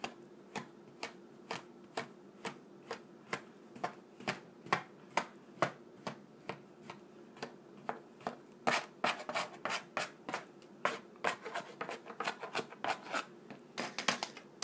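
A flat slab of tan kinetic sand on a wooden table is cut into a crosshatch grid by repeated slicing and scraping strokes of a small blue plastic scraper held in the hand. Each stroke gives a short, crisp, bright crunch with a soft gritty texture and almost no low end. The strokes start out evenly spaced, then come faster and denser after the midpoint.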